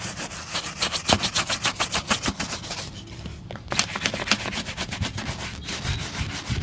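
A brown leather boot is brushed with a wooden-backed bristle shoe brush, giving rapid, scratchy strokes with bright, hissy texture. The strokes come in quick bursts, pause briefly near the middle, then resume at a steady brisk pace.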